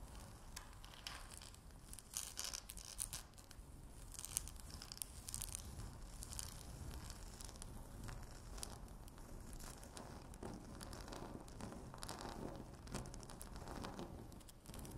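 Long natural nails scratch quickly with both hands across a flat, solid speckled laminate tabletop. Dense, raspy scratching with a tearing quality runs throughout, with bright, crisp high strokes over a low rumble and occasional sharper scrapes standing out.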